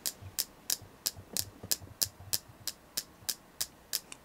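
Steady tapping on a selenite crystal produces 14 short, bright clicks at about three per second. Each tap dies away almost instantly, with a faint low hum underneath.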